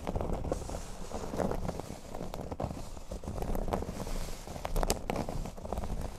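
Fingertips and medium natural nails scratch the surface of a flat, thin, solid speech-bubble-shaped cork board with a black border lying on a table. The result is a steady, dry, crackly scratching made of many quick strokes, with a muffled low-heavy tone and little high-end brightness.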